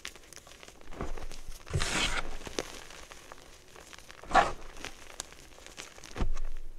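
Loose, dry crushed blue chalk powder with small crumbly chunks, spread on a wooden tray, is scooped up, squeezed, crumbled and rubbed between bare palms and fingers. Soft, gritty crunching and dry rustling rise in several louder swells.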